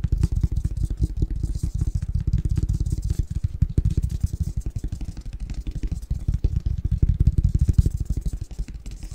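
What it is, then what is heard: Cardboard box lid tapped and scratched. A flat, hollow, empty printed cardboard Christmas box lid with a winter snowman pattern is held in both hands while fingertips and nails scratch and tap its surface and edges. The result is a steady flurry of quick, deep, hollow thuds with short clicky edges, lasting throughout the clip and swelling slightly in loudness toward the end.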